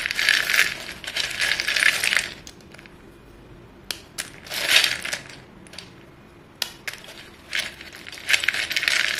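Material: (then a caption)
Chalk. Fingertips rake and stir short, solid white chalk pieces in a filled bowl, producing bright, dry clattering and clinking. The sound comes in three dense bursts separated by quieter stretches with a few isolated sharp clicks.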